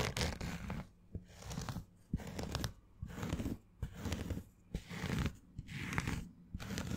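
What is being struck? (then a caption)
Structured fabric baseball cap. A green structured fabric snapback baseball cap with a stiff brim, hollow and held close, is scratched with long fingernails. Bursts of dry, crunchy scratching come in uneven strokes separated by short pauses, with a bright rasp over a low, muffled body.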